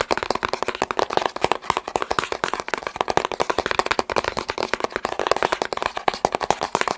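Fingertips tap rapidly on a long, hollow, blue and white cardboard box held in the hand. The result is a steady stream of quick, dry, papery knocks with a hollow midrange tone around 830 Hz and almost no ring after each tap.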